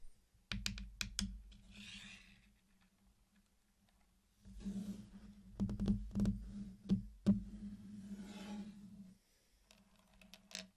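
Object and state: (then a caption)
Candy-coated chocolates tapped and clicked. Fingertips place, tap and click the hard sugar shells of small candy-coated chocolates against each other in a flat circular mosaic laid on a black surface. Sharp, quick clicks come in uneven clusters over a low steady hum, with soft scratchy rustles between them.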